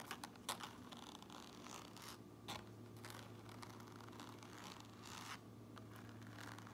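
Long nails scratch and tap the gray front lining and seam tape inside an upturned white and red trucker cap with white mesh. The result is soft, dry, bright scratching with a few sharper taps over a faint steady low hum.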